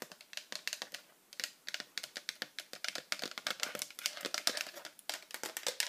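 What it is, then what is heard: Plastic tablet case. An empty, hollow pink hard-plastic iPad cover with cutouts is held in the hands and fast-tapped with very long acrylic nails, with rings on the fingers. Dozens of quick, bright, dry plastic clicks rattle out in a steady stream with almost no low end, pausing briefly near the one-second mark before picking up again.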